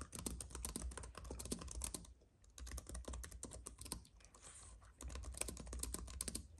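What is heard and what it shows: Both hands type steadily on a slim white wireless keyboard with plastic keys on a silver aluminum base, resting on a dark fabric mat, tapping the keys with the fingertips. Rapid, dry, bright clicks come in dense bursts over a steady low hum, easing into quieter, sparser tapping around the middle before the fast typing picks up again.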